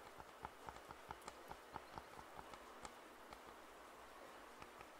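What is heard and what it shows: Fingertips tap the hollow earcups of white and black plastic over-ear headphones held in both hands. A quick, uneven series of short, dry, hollow clicks stands out over a steady soft hiss, each with a light tonal ring near 900 Hz and a bright tick on top. The taps die away almost instantly and thin out toward the end.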